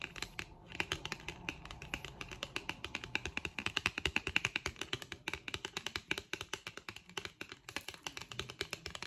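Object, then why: Thin printed cardboard card tapped with long nails. Long acrylic nails tap the face and flick the edge of a thin, solid, flat printed white cardboard packaging card with a barcode. Dozens of rapid, dry, bright clicks and ticks sound in a steady irregular stream, each dying out almost instantly. A faint papery rattle sits near 2.7 kHz.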